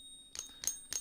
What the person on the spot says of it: using a ping test just like that with an app that listens to the sound of the pinging coin